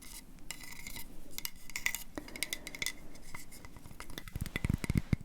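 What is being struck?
Wooden coaster.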